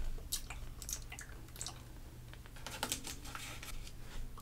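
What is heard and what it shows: A hand with long painted nails rubs the flat glossy paper pages of a thick trade catalog magazine lying open on a table with its fingertips, then flips pages over. The result is a quiet series of short, crisp rustles and bright crinkly snaps over a steady low hum.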